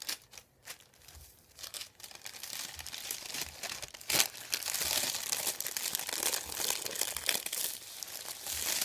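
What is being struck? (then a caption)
Thin printed paper sheet. A thin white printed paper sheet, folded and lying on a wooden table, is rubbed and pressed by fingertips and a hand. Dense, bright crinkling and rustling starts sparse and quiet, then builds into a steady, busier stream of crackles after about two seconds.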